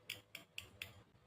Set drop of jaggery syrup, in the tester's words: పాకంని ఇలా కొట్టి చూస్తే సౌండ్ వస్తుంది